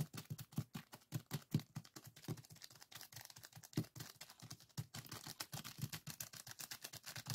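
Fingertips tap and scratch across a small clear plastic zip-lock bag full of purple sand granules resting on a wooden table. A quick, uneven series of soft, dull taps with a low thump is heard, mixed with a grainy, crinkly rustle of shifting sand and plastic that brightens toward the end. Each tap dies away almost at once, leaving a steady, quiet patter.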